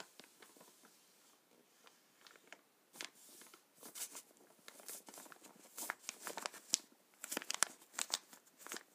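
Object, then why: Plastic bag of paintballs. Fingertips and a palm rub, squeeze and scratch a black plastic bag full of paintballs lying on a table, making the balls shift inside. The result is quiet, bright crinkling and crackling in irregular bursts that grow louder and denser toward the end, with no low rumble.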